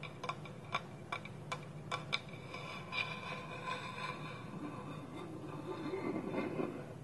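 Slow fingertip and nail taps on a small, round, hollow, empty polished wooden bowl, with its wooden lid held tilted against it. Sharp, bright wooden clicks with a short hollow ring come first, spaced apart. They give way to a softer, continuous, quieter rubbing texture.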